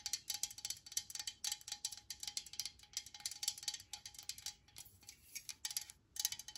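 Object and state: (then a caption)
Metal aerosol spray can. Long nails tap rapidly on the body of a hand-held, pressurized metal aerosol can of disinfectant spray. The taps give bright, high, short ringing clicks in quick, uneven bursts with a few brief pauses, and there's a faint steady tone underneath.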